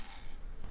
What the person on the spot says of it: un hochet on le secoue ça fait du bruit